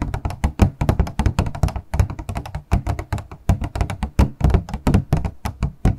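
A small, hollow, transparent purple plastic packaging box is held horizontally in both hands while its sides are tapped rapidly with long acrylic nails. The result is a fast, uneven stream of short, hollow thunks with a deep low body and a bright click on top, each one dying away almost at once.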